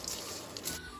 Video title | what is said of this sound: How to make JEOW BONG - Smokey Spicy Chili Paste - ແຈ່ວບອງ - แจ่วบ่องลาว | you can literally hear how crispy these ingredients are